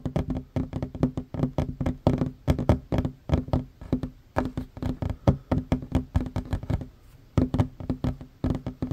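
Both hands fast-tap a flat, solid wooden tabletop with short fingernails and fingertips. The result is a rapid, uneven stream of dull, low knocks with very short decay and a brief pause near the seventh second.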